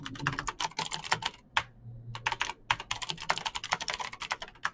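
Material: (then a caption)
Plastic. Fingertips type fast on a Razer BlackWidow backlit plastic mechanical keyboard with clicky green switches. Rapid, bright, sharp key clicks come in quick bursts, with a brief pause in the middle and a faint low hum underneath.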